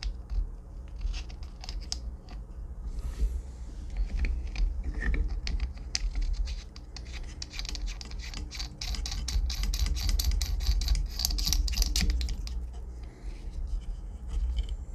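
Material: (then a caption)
Metal mesh. Fingertips and nails scratch and rub along the cylindrical metal mesh grille of a black FiFine condenser microphone with a hollow head, mounted in a shock mount on a boom arm while a hand holds the mic body. Dense, irregular bright scratching and crackling rides over a steady low rumble throughout, swelling louder toward the middle and later part of the clip.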